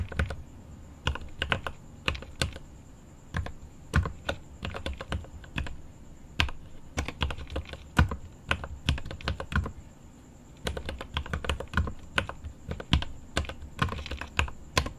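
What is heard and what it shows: Both hands type with their fingertips on a mechanical keyboard with plastic keycaps and an aluminum case. It makes quick, irregular bursts of short, deep, thocky clacks with brief pauses, over a faint steady high whine.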